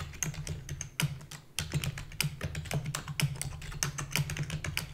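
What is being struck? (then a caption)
Plastic computer keyboard. Long fingernails and fingertips type rapidly on a full-size black plastic keyboard with a hollow body, and one hand lifts away at the end. Quick, dry, bright clicks and taps tumble over a steady low hum, with a brief pause just before the midpoint.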